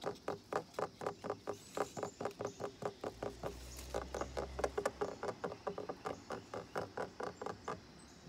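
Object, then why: Painted wooden deck ledge. Fingertips and nails tap rapidly on the top surface of a solid, weathered, brown-painted wooden ledge at the base of a deck railing, making about thirty short, dry, mid-pitched knocks that die out almost at once. A low, steady hum rises beneath the tapping for about two seconds midway through.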